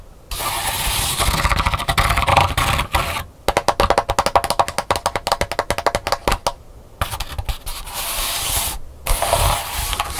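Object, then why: Pleated paper fan. Long pink nails scratch along a flat, thin, multicolored pleated paper fan lying on a wooden table, giving a dry, bright rasping sound. The scratching gives way to a quick run of crisp, papery taps along the pleats, then the scratching returns in two more bursts.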